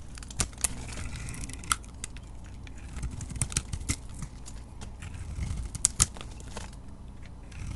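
A utility knife blade scrapes and shaves a solid soap bar with a glittery colored coating and a green interior, held in the hand. Soft, dry scraping runs throughout, broken by sharp, bright crackling snaps as the blade bites into the bar, over a low, steady rumble.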